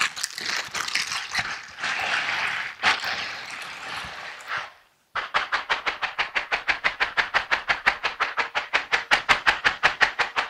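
Silicone-bristled dishwashing gloves worn on both hands, with the gloved palms and fingers rubbed against each other close up. For about five seconds there is a dense, bright, irregular scrubbing and squeaking rustle. After a brief silence it switches to a fast, steady series of short, crisp bristly swipes that grow slightly louder toward the end.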